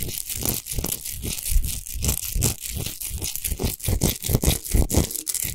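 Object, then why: Rock salt lamp. Long nails scratch fast across a tall, unlit, rough-textured natural Himalayan rock salt lamp made of solid salt. The result is a dense, continuous run of short, dry, gritty scrapes with a bright hiss on top and a low rumbling thump underneath. It has no ringing tail.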